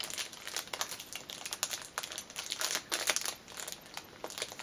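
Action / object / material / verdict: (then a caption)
scrape / cellophane wrapper on a fabric pouch / cellophane / none. Long nails scratch and crinkle the clear cellophane wrapper of a small black fabric pouch lying on a cushion. A continuous run of bright, dry crinkling rises and falls with short sharp crackles, concentrated in the high range with almost no low end.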